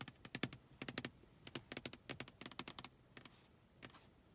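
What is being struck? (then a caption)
Glass car side window tapped with long fingernails. Long acrylic nails tap and scratch on the closed glass side window of a car, with rain droplets on the outside of the pane and the side mirror in view. Roughly two dozen quick, bright, clicky taps come in irregular bursts with short pauses. Each tap dies away almost instantly, like rapid typing.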